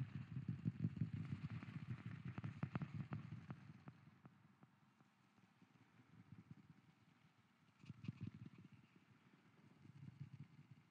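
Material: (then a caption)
Wood. A wooden lid is tapped with an added echo effect, producing low, hollow, woody knocks layered over a soft, boomy wash. The tapping is busiest and loudest in the first four seconds, falls to a quiet stretch, then returns in a brief burst near the eight-second mark before trailing off.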